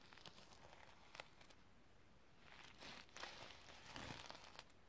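A flat, rectangular notebook or pouch covered in reversible iridescent plastic sequins is held in the hand while long red-painted nails and fingertips brush and scratch across it, flipping the sequins. The result is a soft, continuous crinkly rustle with brief, bright clicking flicks that swell slightly toward the end.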